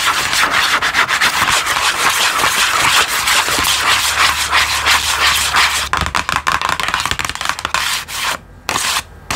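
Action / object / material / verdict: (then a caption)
scrape / small cardboard box / cardboard / none. Long acrylic nails tap and scratch the flat faces of a small, hollow, green printed cardboard product box held in one hand. Dense, bright, rapid scratching and tapping runs for about six seconds, then thins into sparser, quicker strokes with short near-silent gaps toward the end.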